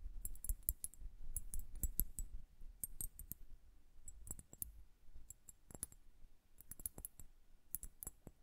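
Long nails tap quickly on the bulbs of a liquid-filled glass bubble hourglass held horizontally. The result is a rapid, irregular stream of short, sharp clicks with a bright, glassy tick on top and a soft low thump underneath. Each tap dies away almost instantly.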